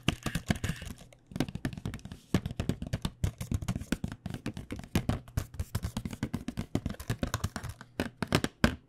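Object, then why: Cardboard box with pens inside. A flat printed cardboard box of paint pens, with the pens still inside, is held in the hand and tapped with long dark-painted nails. The rapid, irregular taps sound dull and hollow, low-heavy with little brightness, and each dies away almost at once. There is a brief pause just after the first second.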